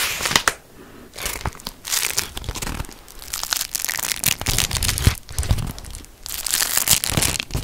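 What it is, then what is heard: Beeswax-coated cotton food wrap. A thin, patterned beeswax-coated cotton food wrap, folded and held in both hands, is crinkled and rubbed with the fingertips. Bursts of bright, papery crackling and crinkling rise and fall with short quiet gaps between them, with some low handling rustle underneath.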